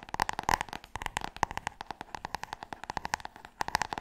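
Long nails tap quickly on the spine and cover of a large, solid, glossy hardcover book. About thirty short, dry clicks follow one another with almost no ring. Each has a hollow knock near 900 Hz and a bright edge on top.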